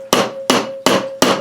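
A rubber mallet taps the aluminium crankcase halves of a 1980 Suzuki FZ50 engine, which are joined with sealant and no gasket, to crack the joint apart. Four evenly spaced, hollow-sounding knocks each ring out briefly with a faint steady tone. The hollow sound shows the sealant seal has broken loose.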